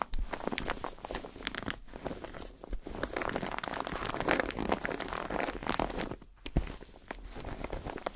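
Fingertips and nails tap and scratch a white padded foam bathtub pillow with a knobbly textured surface, held close to the mic. The result is a dense, continuous crackly scratching and rustling, mostly in the mid-range, broken by brief soft taps and a few louder dull thumps.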